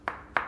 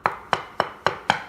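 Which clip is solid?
The first.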